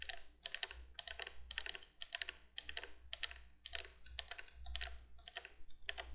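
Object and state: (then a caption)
Plastic candle window light. Long nails tap quickly on the hollow candle tubes of a cream plastic 1980s three-candle window candolier light. The result is rapid bursts of dry, bright clicking that stop short with no ring. A steady low hum runs underneath throughout.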